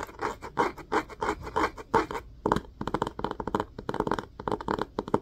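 An upright orange hardcover book with a cloth-covered cardboard cover has the top of its spine scratched quickly with the fingernails of both hands. It gives dry, rapid scratching bursts that start in slower strokes and then quicken into a dense, uneven flurry, with a papery midrange sound and very little low end.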